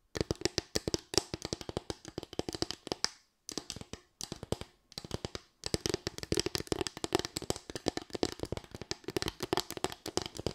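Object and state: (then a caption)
Bamboo slatted board. A small, light solid-wood bamboo board with raised slats is tapped and scratched with long white nails. Rapid, crisp clicks and dry taps come in dense bursts, with brief pauses around the middle. Each hit dies away almost at once, leaving a steady woody patter with a bright edge.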